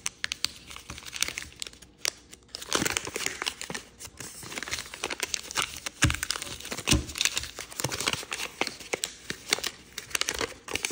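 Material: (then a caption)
Paper. Fingers open and fold the flaps of a multicolor rainbow and red origami paper sheet and crease it, producing a steady stream of dense, bright crinkles. Short crisp snaps stand out throughout, with almost no ring after each one.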